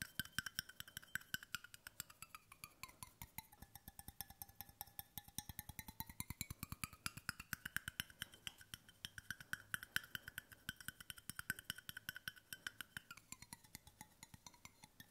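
Fingertips tap quickly and steadily on a large, hollow, brushed stainless steel water bottle, first on its bottom end and then on its side close to the microphone. The taps are quiet, short and dry, with a bright metallic ring around 1.5 kHz. Faint overtones glide up and down as the tapping spot moves.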